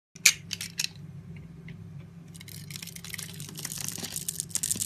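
A utility knife blade slices and scrapes small cubes off a solid pink rectangular bar of soap with a scored grid surface, held in the palm. A few sharp, crisp cuts open the clip, followed by a quieter stretch and then a denser run of bright, crackly scraping that builds toward the end over a faint low hum.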